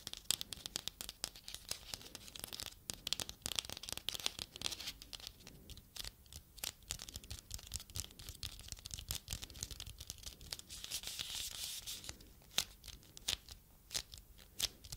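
A small red-painted ribbed artificial foam pumpkin is held in both hands and tapped and scratched with long red nails. Quick, dry clicks and raspy scratches fill the clip, mostly high and bright with little low end. The sound is close and quiet.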